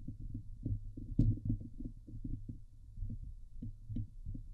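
Long nails scratch the hollow steel wire-mesh dome grille of a Blue Yeti microphone. The result is a fast run of dull, low, thumping rasps, with one sharper, brighter scrape partway through. There is no ringing between strokes.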